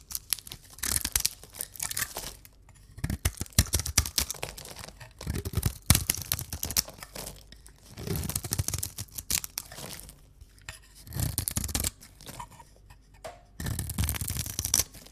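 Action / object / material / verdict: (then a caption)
scrape / soap bar scraped with a knife / soap / none. A square, solid neon-green bar of dry soap is held in the hands while a metal knife blade scrapes and carves its surface, shaving off thin flakes. Each pass makes a dry, gritty, crackling scrape that runs from a low rasp up to bright, crisp crunches. The scraping comes in repeated bursts separated by brief quiet pauses.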